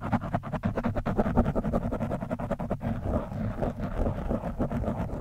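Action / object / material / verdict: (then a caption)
scrape / foam microphone windscreen / foam / none. A screwdriver tip pokes and scratches an orange foam windscreen on a microphone from above. The result is a dense run of rapid, muffled scratching and crackling with a heavy low rumble and almost no bright top end.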